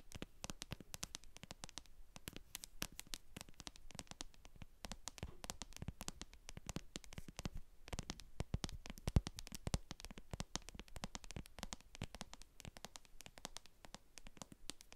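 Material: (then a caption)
Plastic. Long acrylic nails tap and scratch the bottom of a translucent plastic cosmetic jar full of white cream, with a barcode sticker on its base. Quick, dense, dry clicks and scratches run continuously, with a fairly strong low thump under them and short bright ticks that end almost instantly.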